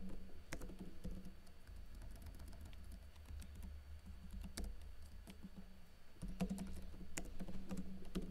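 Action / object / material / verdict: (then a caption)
tap / plastic laptop keyboard / plastic / none. Fingers with blue-painted nails type on a plastic backlit laptop keyboard with plastic keycaps, tapping out short, sharp, bright clicks at an irregular pace. A steady low hum with a faint tone near 190 Hz runs underneath and gets slightly louder in the last couple of seconds.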